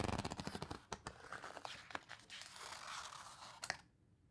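Fingertips rub and squeeze the coarse paper pages of an open photo book, making a quick run of dry crinkling and scraping taps. A page is then turned with a soft papery rustle and a final crisp flick before it falls quiet.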